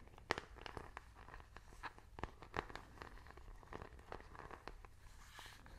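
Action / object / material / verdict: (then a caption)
tap / plastic remote control with rubber buttons / plastic / none. A small, hollow plastic IR remote control with rubber buttons is held up and given fast fingernail tapping and button clicking. The result is a quick, irregular run of dry, sharp clicks and taps with no ring, some louder than others, over a quiet low background hum.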